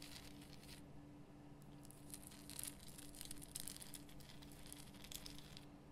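Long fingernails scratch the rough crystal surface of a large pink Himalayan rock salt lamp. Quiet, bright, dry rasping comes in uneven bursts over a steady low hum.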